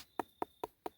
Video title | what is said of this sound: Harvested the Last of This Season's Pumpkins | You hear that hollow sound on the inside. That means that pumpkin has filled out.